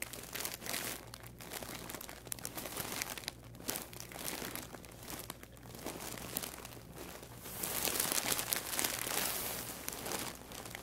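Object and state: Crinkling plastic mailer bag.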